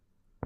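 A single percussion tap on the human chest wall at the level of the fifth rib gives a short, dull note that dies away almost at once, with most of its energy low and a pitch near 125 Hz. The dullness is normal and comes from the liver lying under the lung, in contrast to the resonant lung higher up.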